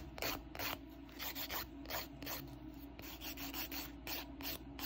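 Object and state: Polygel-coated fingernail being filed.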